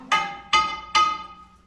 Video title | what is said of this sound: Mine Tour June 10, 2024 | you start tapping your rock and you can hear good rock from Bad Rock